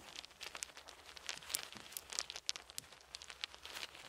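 Two handfuls of small, solid, round wooden beads are held in cupped palms and trickled and shaken with the fingers over a fluffy blanket, where more beads lie. The result is a quiet, steady stream of dry, bright clicks and clatters with very short decay and almost no low end, with sharper clicks standing out now and then.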